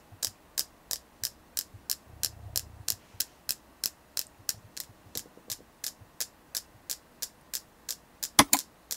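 A selenite crystal is tapped steadily in an even rhythm, giving about 28 short, bright clicks that die away almost instantly. A faint low hum rises briefly early on, and the last few taps land noticeably louder.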